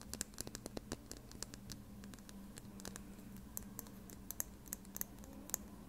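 A small, slim plastic lip gloss tube with a black cap, held horizontally and filled with gloss, is scratched and tapped with long red nails. Quick, sharp clicking taps mix with soft scratching over a faint steady low hum, and each tap dies away almost at once.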